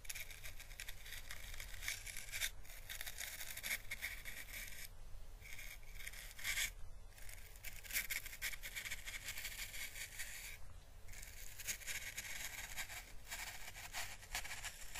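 An orange, hollow, dried papery Chinese lantern husk is held between the fingertips and rubbed and brushed with a thin paintbrush. It makes a soft, continuous crackling, scratchy rustle with a bright, hissy edge over a steady low hum. The brushing briefly eases around the 5, 7 and 11 second marks.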